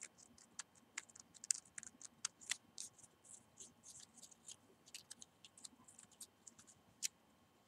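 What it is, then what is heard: Dried cinnamon sticks. A small bundle of hollow, dried cinnamon sticks tied with twine is held in both hands while fingernails scratch and tap the bark. The result is a quiet, rapid series of dry, crisp clicks and short scratches, bright and high with almost no low end, each tick dying away instantly.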